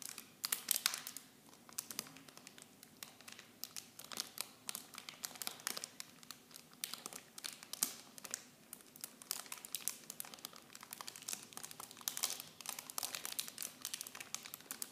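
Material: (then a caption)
Plastic film. Fingers crinkle and squeeze clear plastic packaging wrapped around miniature shampoo bottles. A steady, dense stream of quiet, bright crackles and crisp snaps runs throughout, with almost no low end and no ring after each crackle.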